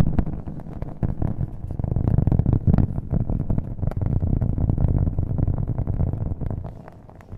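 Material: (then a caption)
Cork. A round, flat cork coaster held at the microphone is tapped fast with fingernails, with an echo effect on the audio. The rapid taps blur into a dense, dull, low patter with almost no bright edge, swelling through the middle and dropping off near the end.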